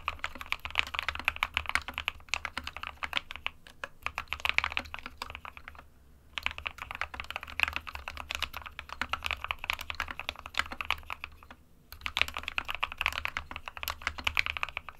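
Fingertips of both hands type continuously on an SK61, a small 60% white plastic-cased mechanical keyboard with plastic keycaps resting on a desk mat. Rapid, bright, short plastic clacks come in dense bursts, with brief pauses near 6 and 12 seconds, over a faint low hum.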